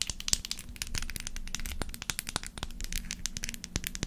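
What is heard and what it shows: Long acrylic nails rapidly tap and scratch a hand-sized dark brown glass perfume bottle with a textured dotted surface and a black cap. The result is a dense stream of sharp, bright clicks and crinkly scratching that die away almost instantly, over a faint low hum.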